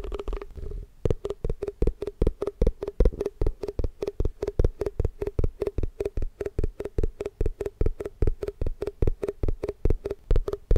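Fingertips rapidly tap the side and base of a hollow, white, round plastic Tupperware container with its lid on, held tilted in the other hand. After a brief rustle of handling, about 50 short, dry, hollow knocks follow at a quick, uneven pace of roughly 150 per minute. Each knock is heavy in low frequencies with a faint tonal note and dies away almost instantly.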